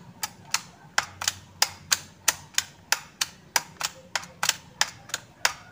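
Fingertips with short nails tap and press the hollow key switches of a black plastic A4Tech full-size keyboard, with one hand resting over the keys, while an artificial sunflower in the corner stays untouched. About 18 sharp, bright plastic clicks come at an uneven pace of roughly one and a half per second. Each click dies away almost at once against a quiet background.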